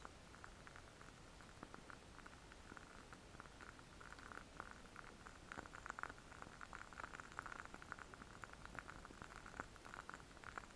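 A small lit candle in a clear glass jar filled with solid wax is held in both hands close to the microphone and tapped and scratched around the glass with fingertips and nails. Dozens of quiet, quick taps each give a short glassy ring around 1.4 kHz over a soft, bright scratching hiss, growing slightly busier toward the middle.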